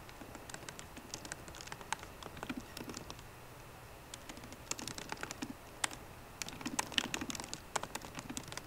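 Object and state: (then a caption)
Laptop keyboard with plastic keys. Long painted fingernails type quickly with both hands on the low-profile plastic keycaps of a 13-inch MacBook Pro keyboard set in a hollow aluminium case. A steady stream of short, bright clicks and taps patters over 8.7 seconds, with quieter and busier bursts and a few sharper clacks toward the end.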